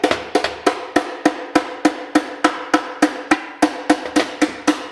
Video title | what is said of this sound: Smoked NV4500 - 2hr teardown! | heard it get Hollow as I was tapping it but that helps to loosen it